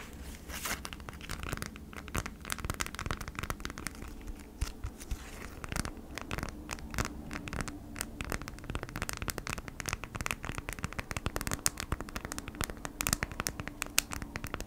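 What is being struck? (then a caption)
Beeswax-coated cotton food wrap. A folded beeswax-coated cotton food wrap is held in both hands while long nails scratch and tap across its waxy surface. Dense, dry crackling and crinkly scraping runs throughout, punctuated by many short, sharp taps over a faint steady low hum.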